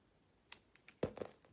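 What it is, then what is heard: Soap bar being cut. A utility-knife blade slices thin sheets off a rectangular solid soap bar with a white coating and a green interior, held in a hand with long nails. A few quiet, crisp scrapes and short bright clicks are heard, followed by a louder cut that carries a brief squeaky tone near 500 Hz.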